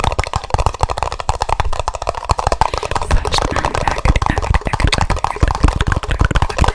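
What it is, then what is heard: Empty plastic party cups. Two identical empty red plastic party cups, hollow and held upside down in each hand close to the microphone, are tapped and knocked quickly with fingertips and nails. The result is a fast, continuous run of dull, low-heavy plastic clicks and thumps that end almost instantly, with a steady rhythm throughout.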